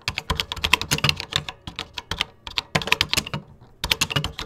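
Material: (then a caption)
Plastic. Fingertips type on a vintage 1980s computer keyboard with cream plastic keycaps, producing about thirty quick, bright plastic clicks and clacks. Each keystroke stops almost instantly with little low thump. The typing flows in steady bursts, with a brief pause near the end before it resumes.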